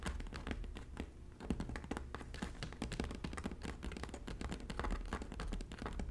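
Both hands with long natural nails tap quickly on the braided straw of the hollow front panel of a red woven straw bag. The result is a dense, steady run of short, dry taps, each with a soft low hollow thump and a faint bright click that dies away almost at once.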